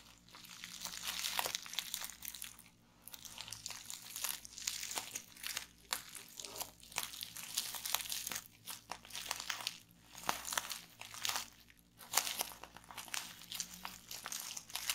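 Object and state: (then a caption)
Plastic bubble wrap. Long painted nails tap, press and pop the bubbles on a roll of clear plastic bubble wrap resting on a table. Bright crinkling and crunching crackles come in dense bursts of sharp, quick pops and clicks with almost no low end. Brief quiet gaps separate the bursts.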